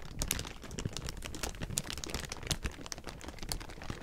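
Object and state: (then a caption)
Crinkling plastic film. Fingertips pinch and scratch the surface of a large heap of thin, clear plastic film. The result is a dense, continuous crinkle of short, sharp, bright crackles and snaps over a soft low rumble, with each crackle dying away almost instantly.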